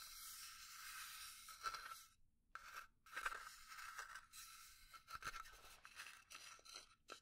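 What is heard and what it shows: Long dark nails scratch and tap the engraved lid and sides of a small, hollow, rectangular burnt-finish pine box held in the hands. The result is dry, bright scraping with brief, quick-fading taps mixed in, and almost no low end.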